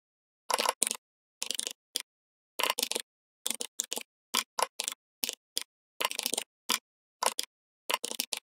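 Fingertips of both hands type continuously on a full-size, red-backlit plastic membrane gaming keyboard. Quick, dry, bright key taps come in short clustered bursts separated by brief silences, with almost no low end and no ringing after each press.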